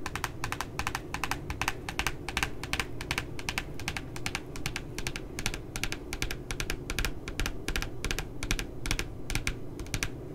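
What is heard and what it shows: Fingertips and nails tap and scratch across the glossy paper cover of a spiral notebook printed with a puppy image. Quick, unevenly spaced, bright clicky taps continue throughout, layered over a steady low, rustling scratch.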